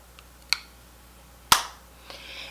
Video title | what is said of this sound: Pat McGrath Labs - SKIN FETISH: SUBLIME PERFECTION CONCEALER SYSTEM (On dry/mature/wrinkled skin) | it's plastic and it feels plastic and it sounds plastic